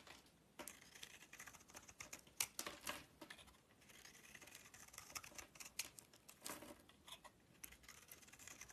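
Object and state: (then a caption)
Soap bar being shaved. A metal utility knife shaves flakes and curls off a solid red-purple DURU bar soap with a white interior, held in the hand. The clip is a quiet run of quick, dry, crisp scraping and crackling strokes, bright and high with almost no low end, each dying away almost at once. Short pauses fall between the bursts of cutting.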